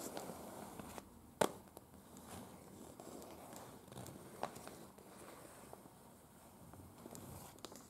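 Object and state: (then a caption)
Paper map tapped and scratched with fingernails. A large unfolded printed paper map of Prague lies flat, its thin sheet tapped and scratched by the tips of long, pointed dark-red nails on both hands. Soft, crackly papery rustling and scratching carries throughout, with quick, dry taps standing out. One sharp tap near the 1.4-second mark is the loudest.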